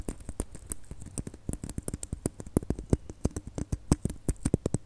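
Long nails tap and click rapidly on a small, hollow red glitter plastic Christmas bauble held between the fingers. The result is a quick, uneven patter of short, dry clicks, each with a soft low thud and a bright tick on top, dying away almost instantly.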